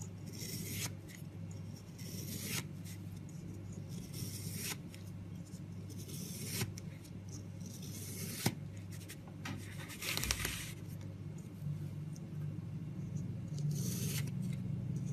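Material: Soap.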